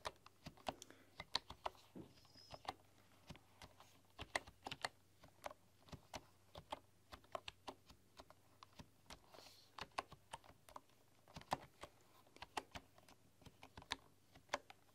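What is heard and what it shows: Fingertips with long, dark-polished nails type and tap on a full-size bamboo computer keyboard with wooden keys. About 35 quiet, sharp, bright clicks come in an irregular patter, each dying away almost instantly over a faint low hum.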